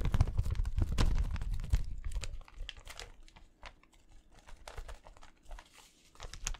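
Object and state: Thin plastic carrier bag crinkled.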